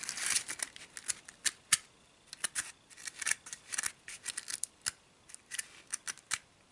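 Long nails scratch along the pleated side walls of a small, hollow, empty orange-striped paper cupcake liner. The result is a rapid run of short, dry, bright crinkling scratches in uneven bursts, with quiet gaps between them.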